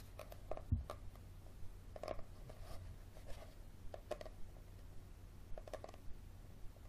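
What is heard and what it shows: Fingernails scratch and tap the cover and spine of a yellow paperback survival handbook held in the hands. The result is quiet, irregular dry taps and short scraping sounds over a steady low hum.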